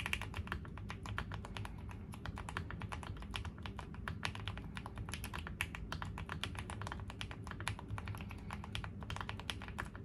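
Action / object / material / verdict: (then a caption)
tap / mechanical keyboard with plastic keycaps / plastic / none. Steady two-handed fingertip typing on a foam-filled 75% custom mechanical keyboard with a dark green case and gray plastic keycaps. The clip is a dense, continuous stream of short, crisp clacks with quick decay, bright high clicks over a soft low thump. The pace stays even throughout.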